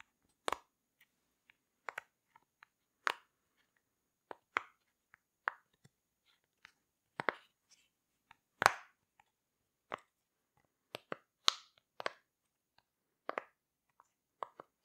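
A rainbow heart-shaped silicone pop-it fidget toy is held in the hands while its bubbles are pushed and tapped with long red nails. About seventeen short, crisp pops and taps are heard at irregular intervals, each bright and quickly dying away, with faint softer clicks in between.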